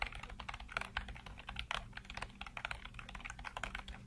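Fingertips rapidly tap and type on the hollow keycaps of a full-size black plastic computer keyboard. The result is a fast, continuous stream of short, clicky plastic clacks with bright edges, over a faint steady low hum.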